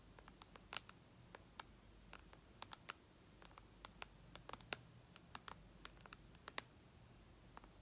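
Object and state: Glass tablet screen.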